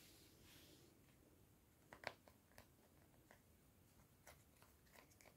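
Fingertips and short nails repeatedly press and click the colored rubbery buttons on a small, flat, hollow white plastic infrared LED remote control held in both hands. About eight quiet, sharp, bright plastic clicks ring out over a low background hiss, and the loudest comes at around two seconds.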